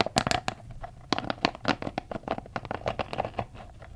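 Fingertips tap, rub and squeeze the spikes of a palm-sized red soft rubber spiky massage ball, likely hollow, held close to the microphone. A quick, irregular run of sharp, dry ticks and crinkly scratches rises over a faint low rumble. Each tick has a slight hollow tone near 680 Hz and bright edges, and fades almost at once.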